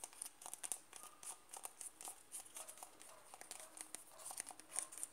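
A closed white plastic Nivea cream jar, 100 g, is turned in the hands while fingernails tap and scratch its side wall. Quiet, crisp clicks and scratches come in a quick, irregular series, with bright, high ticks and very little ring.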